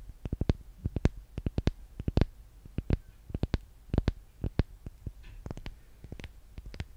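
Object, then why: Small solid soap bar tapped with fingernails. Long painted nails tap rapidly and irregularly on a small, solid, pink-and-yellow handmade soap bar held close to the mic. Each tap is a short, dry click with a soft low thump underneath, stopping almost instantly. The taps come in quick, uneven bursts over a quiet background.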